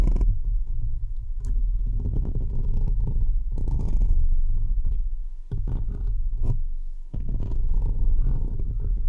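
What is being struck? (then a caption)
Perforated metal mesh microphone grille. Fingertips and short nails on both hands scratch the uncovered, hollow, perforated metal mesh grille of a large microphone. The result is a dense, continuous, low rumbling scrape with deep booming thuds and faint brighter crackles. The sound briefly thins and quiets twice before resuming.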